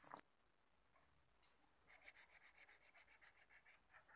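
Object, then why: Felt-tip marker on a sheet of thin paper or card. A green felt-tip marker held in the fingers rubs repeatedly across a flat sheet of light blue paper or thin card, filling a heart outline with colour. A short bright scratch opens the clip, followed by a quiet pause with a few faint strokes, then about twelve quick, even back-and-forth strokes give a steady, bright, airy scratching.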